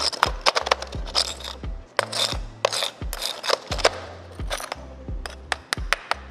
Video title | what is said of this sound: 1000만원 아낄수 있는 방법!! 디젤차 오너라면 무조건 알고 있어야할 상식!! | 소리가 나죠? 단단합니다. 벽돌 같은 구조로 생겼어요.